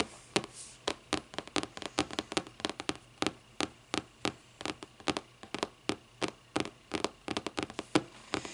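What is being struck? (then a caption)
Hardcover paper book. Long nails tap rapidly on the front of a closed, thick hardcover paper book with a lime-green board cover, producing about 37 short, dry, crisp taps in an uneven rhythm. Each tap dies away almost at once over a faint steady hum.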